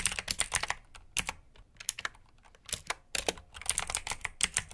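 Fingertips with short nails type on a full-size black plastic mechanical keyboard with RGB backlit keycaps, clicky blue switches and hollow key housings. Bursts of sharp, bright clicks come in quick runs with brief pauses between them, each click dying away almost at once.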